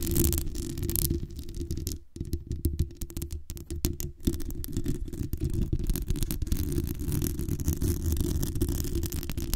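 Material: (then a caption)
Metal mesh. Long nails scratch the sides and top of the hollow metal mesh grille on a black USB condenser microphone. The result is a dense, boomy rasping that is heavy in the lows, with rapid overlapping strokes and brief quieter dips around the two- and three-and-a-half-second marks.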